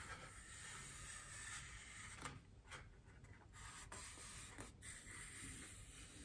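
Long painted nails and fingertips scratch and tap a large, white, solid styrofoam wreath ring lying on a table. A soft, steady rubbing hiss runs throughout, broken by a few short, bright taps and scrapes near the middle. The sound stays quiet and close, with little ring after each tap.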